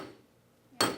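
A steel coat hanger is banged once near an anvil to show that steel is tough and rigid. After a quiet moment, a single sharp, bright metallic clank rings briefly and fades quickly.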